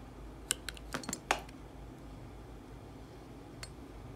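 A metal utility-knife blade shaves thin curls off the edge of a solid, hand-sized yellow bar of soap held in one hand. A quick cluster of short, crisp, bright scraping clicks comes in the first second and a half, then a single faint scrape follows near the end over a low, steady background hiss.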